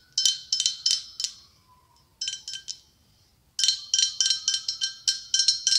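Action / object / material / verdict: tap / blown-glass pumpkin ornament / glass / none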